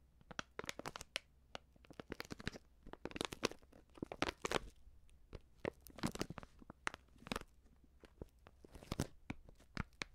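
Long nails crinkle and scratch a filled, medium white Prix Garantie plastic seasoning bag. Quick, dry crinkling and scratching snaps come in dense clusters separated by short pauses, each burst bright and dying away almost instantly. A faint low hum runs steadily underneath.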